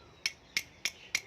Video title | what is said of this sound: งานซ่อมบำรุงข้อเหวี่ยงเวฟ 125 - Tom Racing | ก็ลองเคาะดูครับนี่ คือก้านลูกปืนเริ่มหลวมแล้วนะครับใช้งานมานานนะครับ